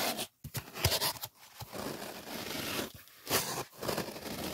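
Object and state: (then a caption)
Polyethylene foam sheet. A white polyethylene packing foam sheet resting on a table is rubbed and scratched with fingertips. The result is dry, bright, crackly scraping and squeaky rasps in uneven bursts, with brief silent gaps between strokes.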